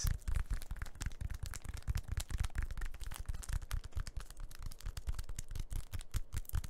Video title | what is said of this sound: the classic - tapping - ASMR | a bit of the crinkliness of the packaging and you have a bit of the sturdy surface of the cork